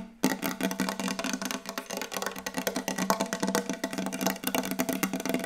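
Fingertips tap very fast and continuously on a wooden table, making a dense run of short, dry, woody knocks. Each tap dies away almost at once, with a faint mid-pitched hollow tone under the bright clicks.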